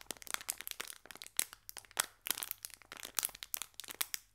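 A small green metallic foil biscuit pack is pressed with the fingertips, making a rapid, uneven run of sharp crinkles and crackles. The sound is bright and crisp, with almost no low end, and each crackle stops almost instantly.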